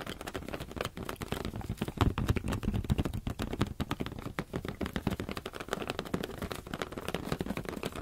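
Fingers tap rapidly on a rubber balloon in a dense, steady stream. Each tap is a short, dull, low thump with almost no ring, and faint crinkly rubber texture shows up between the hits.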